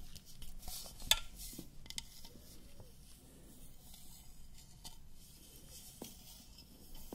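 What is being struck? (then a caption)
Painted metal water bottle. A tall white printed painted metal water bottle with a cap, hollow and held in both hands, is tapped and scratched along its side with long lilac acrylic nails. Quiet, bright, short-ringing taps and soft scratching are heard, with one sharper, louder tap near the start standing out over a low background rumble.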